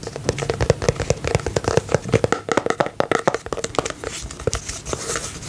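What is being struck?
Small plastic tub filled with slime.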